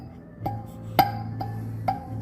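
A steel needle spring on a key of a counterfeit Chinese-made Mark VI saxophone, made in China, is flicked during a full overhaul. It gives short metallic twangs with a ringing tone around 800 Hz, and five flicks stand apart over a low background hum. It is compared with the spring on the neighbouring key, which sounds different.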